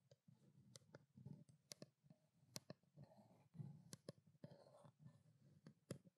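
A small white plastic skincare water bottle with a printed label is held in both hands and tapped with long black-painted nails. It gives quiet, sharp, dry clicks over a soft low hollow thud, with brief rustling between taps. Each tap dies away almost instantly, with no ring.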